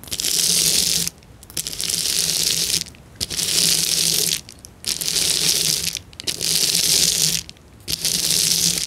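A clear plastic sheet of bubble wrap with hollow air bubbles lies on a table and is rubbed and scratched with fingertips and long nails. Six bright, crinkly scratching bursts, each about a second long, are separated by short near-silent pauses. A faint low tone sits under each burst.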